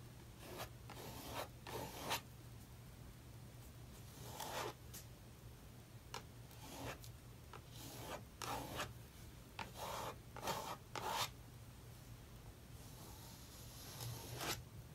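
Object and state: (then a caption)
Palette knife scraping acrylic paint on paper. A metal palette knife scrapes thick black and gray acrylic paint across an open paper sketchbook page resting on a wooden table, reworking an abandoned page. Short, bright rasping strokes come in separate bursts over a steady low hum.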